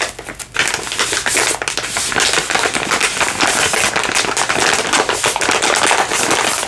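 A soft plastic baby-wipes package is held in both hands and crinkled and squeezed with fingers and nails. The result is a steady stream of dense, bright crackles and sharp snaps that blur together, with almost no low end.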